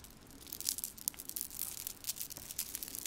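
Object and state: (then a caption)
Metal chain bracelet with crystal drops. Fingertips and nails turn and shake a small, solid silver-tone chain-link bracelet hung with clear faceted crystal drops. The links and crystals jingle against each other in a quiet run of bright, high, clicking ticks. Each tick is sharp and dies away at once, with almost no low end.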